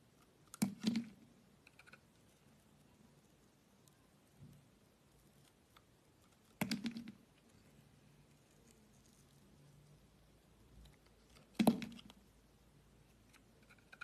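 A green and white striped bar of solid soap, held in the fingers of a hand with long nails, is cut with a blade. Three main short crunchy scraping cuts, with a warm low-mid body and bright edges, stand out against near silence, with a few faint ticks and scrapes in between.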